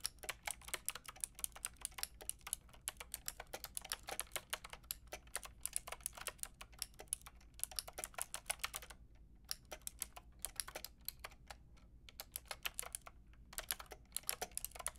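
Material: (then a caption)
Plastic. Long painted nails and fingertips type on a white and pink Lofree mechanical keyboard with round plastic keycaps. The result is a steady stream of quick, bright, clicky plastic taps that stop almost instantly. The typing runs continuously, with brief pauses around the nine- and thirteen-second marks.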